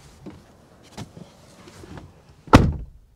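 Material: Steel.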